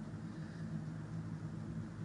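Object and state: Nothing is struck.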